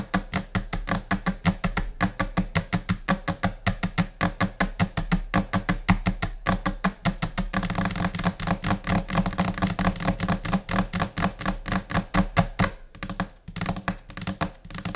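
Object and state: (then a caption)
Laminate desk tapped with nails. Long nails and finger pads tap a flat, solid white laminate desk surface in a chaotic, scattered rhythm. Dense, sharp clicks with a short, dry decay and a low-mid thump sit over a bright tick. About halfway through, the taps blur into a faster, nearly continuous patter before separating again.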